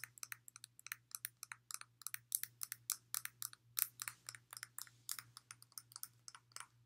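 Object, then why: Glass water bottle, thick base. Long nails tap repeatedly on the thick glass base of a clear glass water bottle partly filled with water, with the base turned toward the camera. About 39 quick, bright, crisp clicks come in an uneven rhythm, each dying away almost instantly. A steady low hum sits underneath.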